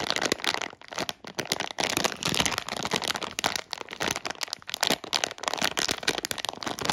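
A sealed clear-and-printed plastic Haribo Worms Fizz bag, full of sugar-coated gummy worms, is held in both hands and squeezed and rubbed with the fingertips. The film gives off a dense, bright, continuous crinkling and crackling with almost no low end, while the gummies shift inside. The rustling comes in uneven bursts with brief dips throughout.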